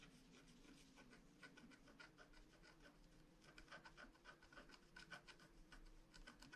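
A pointed wooden stylus scratches along the outlines of a flat, rainbow-foil scratch art card with a black wax coating on paper, held down by one hand. Quiet, dry scratching and rubbing strokes repeat in short bursts with a faint steady tone near 1.5 kHz. The strokes grow slightly louder and more distinct in the second half.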